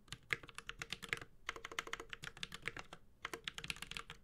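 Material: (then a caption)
Plastic. Fingertips of both hands type on a Space65 Cybervoyager, a 65% mechanical keyboard with Holy Panda switches, a white-gold metal case and ABS plastic keycaps. Quick, bright, clacky keystrokes with very short decay come in irregular bursts, with brief pauses near 1.4 and 3.1 seconds.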